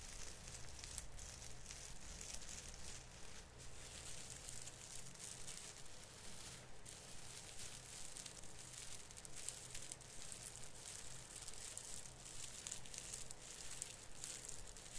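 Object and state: Plastic artificial Christmas tree branch.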